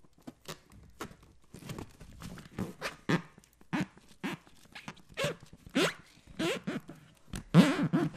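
A light green latex balloon filled with liquid is scratched and tapped with the fingertips close to the microphone. The result is a quick series of short, soft rubbery squeaks and scrapes with a low, full body and occasional brighter swishes. The taps vary in loudness, with the strongest burst near the end.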